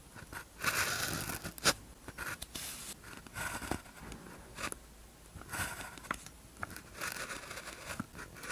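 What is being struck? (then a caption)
Paper practice sheet with ballpoint pen. A blue ballpoint pen tip scratches across a thin white practice sheet with a red grid, lying flat, while writing characters. Bright, papery scratching strokes come in short bursts separated by brief pauses, with small ticks where the pen lifts and lands.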